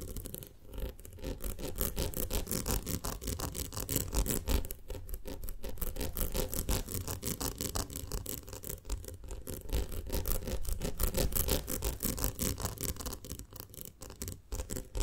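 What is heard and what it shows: Long lilac nails on both hands tap and scratch around the sides and rim of a ribbed round glass jar filled with honey. The result is a dense, continuous stream of quick clicks and scratchy rasps, weighted toward low, muffled tones. It runs at a steady level for the whole clip, with brief lulls.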